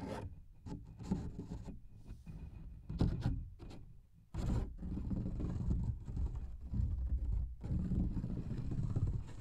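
A large, thin coloring book page made of paper is held in both hands close to a microphone while fingernails scratch and tap across its surface. Dense, low, rustling scrapes come in uneven bursts with brief bright edges, dipping quiet just before 4.5 seconds and then continuing steadily louder.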